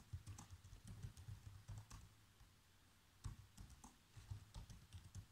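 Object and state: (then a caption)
Plastic laptop keyboard. Fingertips with short nails type fast across the keys of a black plastic chiclet laptop keyboard, making quick, soft taps with a low thud and a bright click on each press. The typing comes in bursts with a brief pause in the middle, and each tap dies away almost at once.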